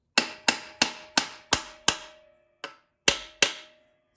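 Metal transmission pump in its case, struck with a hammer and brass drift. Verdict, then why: Seated. A hammer and brass drift tap nine times on the metal pump of a TH350 transmission sitting in its case, giving short, bright, flat metallic clicks with a quick decay, a faint lingering tone, and one softer tap near the end. The consistently flat, solid sound shows this spot on the pump is fully seated on the case surface.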